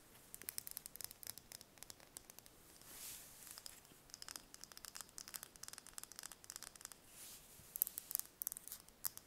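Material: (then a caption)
Eggshell. A small whole brown hen's egg held in the hands is tapped and scratched with long painted fingernails. Quick, quiet, bright clicking taps come in rapid bursts, broken by two soft, hissing scratches along the shell.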